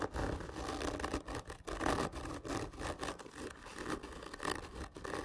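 Long fingernails scratch and rub the surface of a large, hollow, black printed cardboard whisky gift tube lying horizontally. The result is a steady, dry scratching in repeated strokes with a bright rasp and a hollow, low body from the tube.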